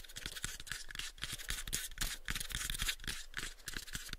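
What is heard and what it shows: Fingernails scratch quickly and irregularly across the face of a pale, light wooden box held close to the mics. The result is a dense run of bright, dry scratches with soft, low knocks from the wood underneath.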